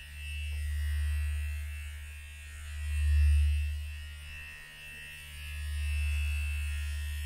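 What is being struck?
Nothing is struck.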